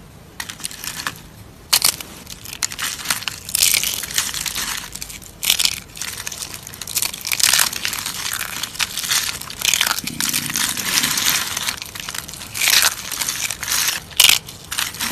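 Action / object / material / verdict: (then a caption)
scrape / soap shavings crushed by hand / soap / none. A hand with long pink nails crushes hollow, curled, dried brown soap shavings in a plate. Dense, dry crunching and crinkling crackles come in repeated bursts for about fifteen seconds, bright and high with almost no low end and no ring after each crunch.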